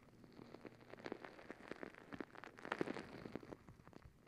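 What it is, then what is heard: Rubber stress ball filled with gel beads. Long acrylic nails scratch and squeeze a palm-sized rubber squishy stress ball full of gel beads. A quiet, dense patter of small ticks, crackles and soft squelches rises and falls, with the busiest, loudest stretch near the middle. The sound is mostly mid-range with little bass or bright top, and each tick dies away almost instantly.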